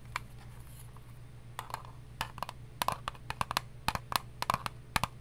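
An eyelash case is tapped in an irregular series of about nineteen short, sharp clicks, sparse at first and then quicker. Each tap has a bright, hollow tone around 1 kHz that dies away almost at once, over a faint steady low hum.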